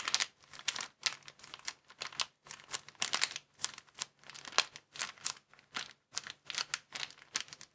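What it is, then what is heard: Plastic bag crinkling. A small, empty, folded white plastic bag is held in both hands above a wooden table while fingertips squeeze and crinkle it. Bursts of bright, crisp crackling come in quick clusters with short gaps between them and no ring after each burst.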